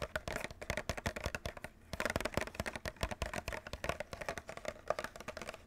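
Fingernails tap quickly on the top and front of a white and clear plastic clamshell package holding a Nintendo Switch controller. The result is a dense run of short, clicky plastic taps with a hollow midrange tone around 600 Hz and almost no ring. Brief pauses break up the steady tapping.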